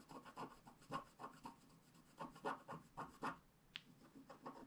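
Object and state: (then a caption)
Scratch art card being scraped. The wide end of a wooden stylus scrapes back and forth across a flat black scratch art card, removing its wax coating from the paper. About fourteen short, dry, rasping strokes come in an uneven rhythm, each a soft mid-toned scratch with a slightly brighter edge. A single sharp tick stands out near the end.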